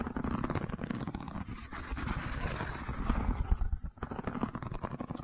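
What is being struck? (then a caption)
Woven wicker tube. Long fingernails scratch and tap along the weave of a long cylindrical woven rattan or wicker tube held in the hand. The result is a dense, dry, rapid crackling texture of quick scrapes and light taps, mostly low and muffled with little brightness, and each tap dies away almost instantly.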